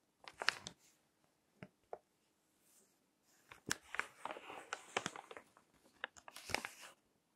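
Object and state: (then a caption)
Paper magazine pages crinkled. Fingertips turn and crinkle the pages of a crinkled paper magazine lying on a table. Quiet, bright, crisp crackles come in short bursts with pauses between them, then build into a denser stretch of rustling and crinkling before stopping.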